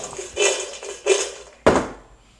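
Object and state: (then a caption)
Crispy fried French fries. Freshly fried, seasoned French fries are tossed in a bowl, making three dry, crisp rustling bursts, with the last one the sharpest. The crispy fries are judged fantastic.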